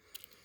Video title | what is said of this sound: COUTEAUX WENGER ( VICTORINOX ) ANCIEN | Ça fait plastoc, parce qu'il cogne sur le plastique. Le manche c'est du plastique.